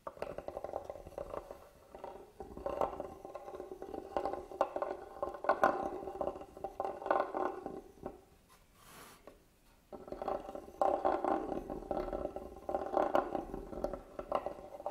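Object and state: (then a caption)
Carved wooden box. A small black handheld tool scratches and taps across the carved lid of a closed, hollow, hand-carved wooden box lying flat. It makes a dense run of dry, hollow scraping and quick tapping in the low-mid range with very little ring. There is a brief near-silent pause around the eighth to tenth second before the scratching resumes.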